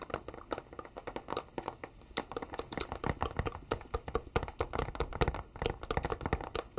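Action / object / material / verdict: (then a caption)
tap / flat cardboard box / cardboard / none. A flat, hollow white cardboard box is held in both hands while fingertips and nails tap and scratch across its surface. The result is a quick, uneven run of short, dry, papery taps with brief scraping strokes in between. Each tap dies away almost instantly with no ring.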